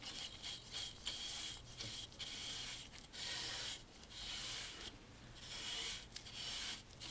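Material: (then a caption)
Wood. A bristle brush held in a gloved hand sweeps back and forth over a dark stained solid wooden picture frame moulding with a beaded groove. The result is six scratchy, bright, hissy strokes with slight dips between them, mostly high-pitched with a faint steady tone near 3.3 kHz.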